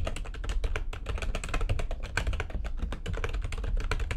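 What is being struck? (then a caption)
Plastic computer keyboard. Rapid typing with long nails on a full-size plastic backlit computer keyboard gives a fast, dense stream of sharp, bright clicks. The taps ring out very briefly over a steady low rumble.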